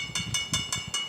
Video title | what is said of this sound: ఈ గుడిని దర్శిస్తే శివుడు మీ జీవితాన్నే మార్చేస్తాడు - Mystery of Chaya Someshwara Temple - iDream | Coin కొట్టినట్టయితే మనకు శబ్దం వస్తుంది మేడం. ఇక్కడ మనకు మెటల్ సౌండ్స్